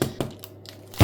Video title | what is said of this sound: Hefefreies Brot in 5 Minuten! 🍞 knusprig und lecker #183 | Only when it sounds hollow is it cooked through and fully baked.